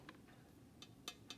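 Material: Porcelain.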